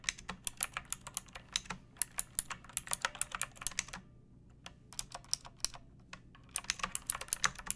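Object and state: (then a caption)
Plastic mechanical keyboard. Fingertips with long painted nails type on a pink plastic mechanical keyboard with round keycaps and a hollow case, resting on a wooden surface. Crisp, bright clacks come in quick irregular bursts, each dying away almost at once. They pause briefly just after the middle of the clip, then resume.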